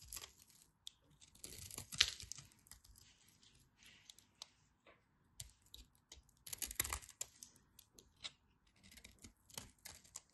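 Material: Soap.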